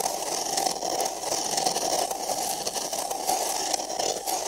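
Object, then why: Empty paper cup. Fingernails scratch inside the rim of an empty, printed paper cup held sideways over the microphone. The result is a steady, dry scraping rasp with a hollow resonant tone around 760 Hz and a bright, hissy top.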